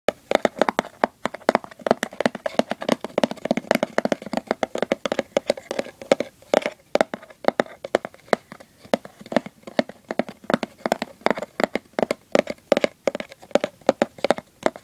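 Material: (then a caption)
Cardboard. Fingertips and short nails scratch and tap the lid of a hollow, hand-sized cardboard gift box printed with a Christmas Santa and peppermint design. The result is a rapid, uneven stream of dry, papery taps and scratches, each dying out almost at once, with a faint hollow tone in the midrange and almost no bass.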